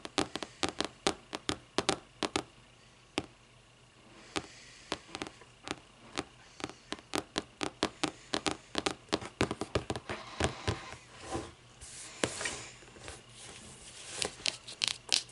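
Long nails tap quickly on the cover of a closed, thick hardcover paper book, then the book is turned onto its spine and tapped there, making about 46 sharp, dry clicks. The taps are bright and crisp, with very short decay and some quieter, rustling stretches between them.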